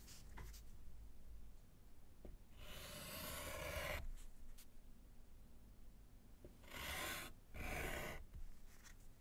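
A gloved hand writes with yellow chalk on a small, solid slate board in a wooden frame. Quiet taps and short ticks give way to long, broad scratching strokes, with one sustained stroke in the middle and two more near the end, each carrying a bright, hissing texture over a low rumble.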